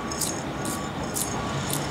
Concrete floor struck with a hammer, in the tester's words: That's telling you that that concrete is loose and it needs to come out.